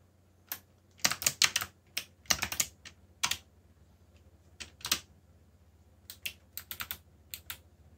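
Fingertips type on a backlit plastic mechanical keyboard with black plastic keycaps, producing quick, bright clicky keystrokes in irregular bursts and pauses. Each keystroke is short and crisp over a faint, steady low hum.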